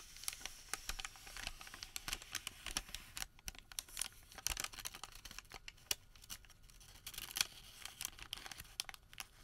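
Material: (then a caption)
Paper. Fingers stretch, twist and crinkle a long Home Depot thermal paper receipt twisted into a rope. Quiet, bright, papery crackles and sharp little snaps come in a dense, irregular stream with occasional louder pops. The sound carries almost no low end.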